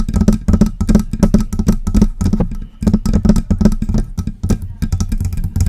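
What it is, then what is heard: Metal microphone body tapped and scratched with nails. Long press-on nails tap and scratch the upper body of a silver, hollow metal USB desktop microphone near its knobs. Rapid, irregular taps land as deep, hollow thumps mixed with brighter scratchy clicks. There is a brief lull in the middle before the tapping resumes.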